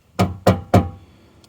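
Three knocks on the metal fuel tank of a Corsa B car give short, hollow, low thuds with a quick decay, followed by a faint tap. The tank sounds empty.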